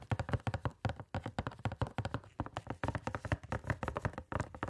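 A small, hollow, printed cardboard box of gloves is held against the side of the microphone and tapped quickly with gloved fingertips. The result is a fast, uneven run of soft, low, hollow thumps with a boxy resonance around 110 Hz. Each tap dies away almost at once, with very little brightness.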